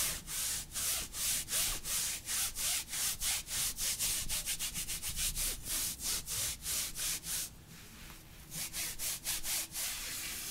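A hand in long, thin, sheer black nylon mesh opera gloves grips and rubs up and down the other gloved forearm with the palm and fingertips, making fabric-on-fabric friction. The rubbing comes as a fast run of bright, hissing strokes, about three per second. Near the end it briefly softens into a steadier, quieter swish before the strokes resume.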